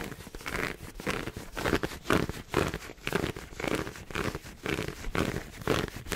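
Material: Satin fabric.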